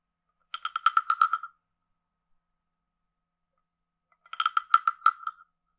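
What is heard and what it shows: A hand-sized carved hollow wooden frog with a ridged back has its ridges scraped and its head tapped with a wooden stick. This makes two short bursts of dry, rapid croaking clicks with a hollow woody tone around 1.3 kHz and bright overtones, separated by nearly three seconds of silence.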